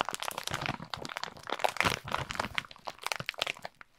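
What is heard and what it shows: A plastic Kinder Schoko-Bons snack bag filled with wrapped chocolates is held in both hands and squeezed and crinkled with the fingers. The result is a dense run of sharp, bright crackling and crunching plastic crinkles with very little low end, each snap dying away almost instantly.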